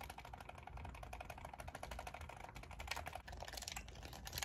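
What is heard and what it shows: Long acrylic nails rapidly tap and click on the buttons and shell of a hollow black hand-held plastic game controller with pink thumbstick caps, held in both hands. It makes a fast, steady stream of short, bright clicks with a hollow mid tone, much like typing on a keyboard.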